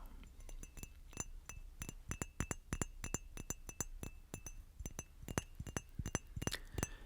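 Fingers or an object tap repeatedly on a glass bottle, giving a steady run of short, bright clinks with a faint ring around 2.7 kHz. The tapping is irregular and quick, with each strike dying away almost at once, and a few slightly louder clusters near the end.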